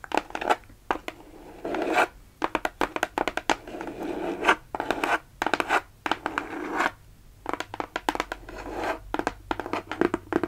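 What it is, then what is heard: Cardboard shipping box. Long nails scratch and tap across the flat faces of a closed, hollow kraft cardboard Sephora mailer box as it is held up and turned. Quick, dry clicking taps alternate with bursts of rasping scratches, all short and bright with almost no low end or ring.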